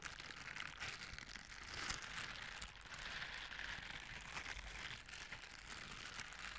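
Blue silicone bristle scrubber gloves, worn on both hands, are rubbed against each other with a scratching and brushing motion. The result is a quiet, continuous, bright crinkly scratching texture with small swells and bursts throughout.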